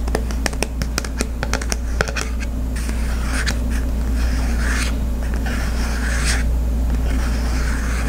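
Fingertips and nails scratch over the textured print of a small, flat, glossy cardboard Visa gift card holder held in hand. Quick, sharp ticks and scratches come first, then give way to longer, bright rasping strokes over a steady low hum.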